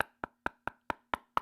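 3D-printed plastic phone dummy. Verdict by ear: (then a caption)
Hollow. Six sharp, hollow taps on a 3D-printed plastic mock-up of the Galaxy S26 Ultra, evenly spaced with a short clicky ring around 1.3 kHz. The dummy sounds empty, hollow inside with perhaps only some styrofoam or packing paper, and it lacks the weight of the real phone.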